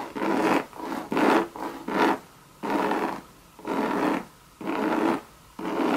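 Long red nails scratch the side and base of a hollow Louis Vuitton monogram coated-canvas bucket bag. The result is a series of dry, raspy scratching strokes, each a fraction of a second long, separated by brief pauses. The rasp sits mainly in the midrange, with almost no low rumble.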